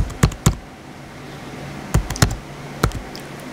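Fingertips type on the white plastic keys of a small blue plastic HP laptop, giving short, dull clicks with a low, thumpy body. The keystrokes come in two loose pairs and then a small cluster, separated by quiet pauses over a faint steady background hum.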